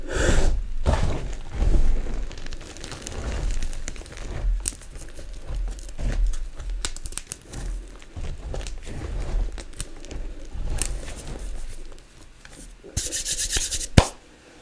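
Chalk-covered fingertips with long nails rub and sweep through a loose, flat pile of crushed purple magnesium-carbonate gym chalk, solid powder and small crumbs, on a countertop. The result is a soft, dry, gritty rubbing and sanding texture with crinkly scratches that swell and fade. A brighter burst of scraping comes near the end, capped by a sharp click.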